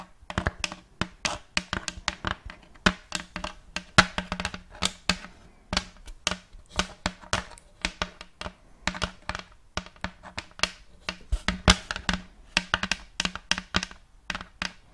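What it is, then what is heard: Wooden tray tapped with fingernails. Long fake nails tap on the wooden blocks of a large round checkerboard end-grain wooden tray held upright near the mic. The result is a rapid, irregular run of short, dry, woody clicks that die away almost at once, each with a bright crack on top and a low hollow knock underneath.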